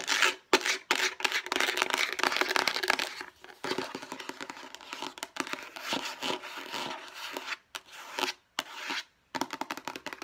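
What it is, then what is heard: Plastic storage container scratched with nails. A hollow light blue plastic food storage box is rubbed and scratched with long nails, giving bright, dense scraping and crinkling that runs in rapid bursts. The scratching stops and starts in short gaps, with no low end to the sound.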